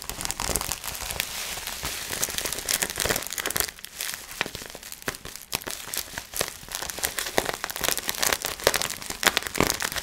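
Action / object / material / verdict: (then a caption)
scrape / plastic bubble wrap sheet / plastic / none. Fingertips squeeze, crinkle and pop the bubbles of a clear plastic bubble wrap sheet. A dense, steady crinkling runs throughout, broken by many sharp, bright pops that die away almost instantly, with very little low-end weight.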